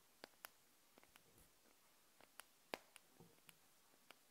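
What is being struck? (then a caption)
Small wax-filled glass jar. Long nails tap and scratch the glass near the neck of a small wax-filled glass jar candle held sideways. The result is a quiet series of sharp, bright clicks and ticks with very short ring, separated by near-silence and a few soft scraping sounds.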